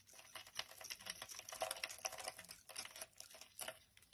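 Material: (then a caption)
Soap. A utility knife blade shaves a palm-sized solid yellow bar of soap held in the hand, cutting it into flakes. Quick, dry, crisp scraping strokes follow one after another, bright and hissy with little low end. Each stroke is short, with a few sharper scrapes standing out.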